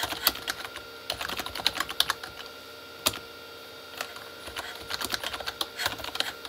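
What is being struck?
Plastic computer keyboard.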